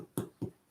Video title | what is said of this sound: Eathouse LIVE FEED: Jake Caleb cooks Sourdough | it should sound hollow when you tap it on the bottom